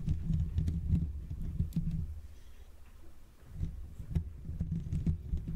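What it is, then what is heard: Metal microphone grille. Fingertips with short nails scratch and tap the hollow metal mesh grille of a Blue Yeti microphone with both hands. The result is a dense, irregular patter of soft, low, muffled thumps with faint bright scratchy ticks. The patter thins to a quieter lull midway, then picks back up.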